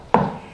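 A knuckle knock on a car's rear and roof sheet-metal panel that has been covered with sound deadening material. It gives a single dull thud centred in the low-mid range, which dies away in under a fifth of a second with no ringing. The deadened panel sounds as it should.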